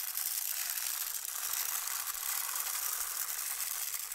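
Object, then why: Plastic rainmaker tube with beads inside. A long, clear, hollow plastic rainmaker tube is held by hand and slowly tilted up and down, sending beads falling over its internal tiers. The result is a continuous, bright rattling cascade of fine clicks and hiss, steady in level with almost no low end.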